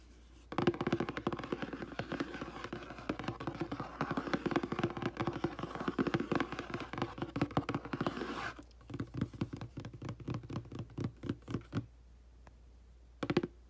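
Fingertips and nails tap quickly on the back of a hollow, glossy printed cardboard aquarium box, making a dense flurry of dull, hollow taps centred around 350 Hz. After about 8.5 seconds the tapping thins into sparser, separate taps that stop near 12 seconds. A brief final burst follows near the end.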